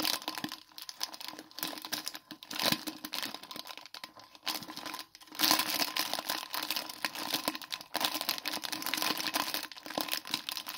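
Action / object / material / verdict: scrape / plastic foil snack wrapper / plastic foil / none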